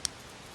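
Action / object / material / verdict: tap / metal smartwatch bezel / metal / normal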